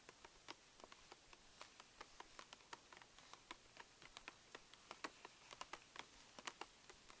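Long nails tap quickly across a pink Reese's candy pouch made of plastic foil laminate resting on a table. About 28 quiet, sharp taps ring out, each a crisp, bright crinkly tick that dies away almost instantly over faint hiss, with very little low end.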